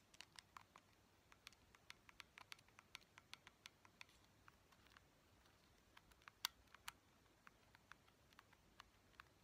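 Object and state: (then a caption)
Plastic game controller. Long painted fingernails tap a small neon-yellow hard-plastic Joy-Con controller, a hollow shell with buttons and a thumbstick. About twenty quiet, sharp, bright clicks come in an irregular patter over faint background hiss. Each tap dies almost instantly, and one louder tick stands out near the end.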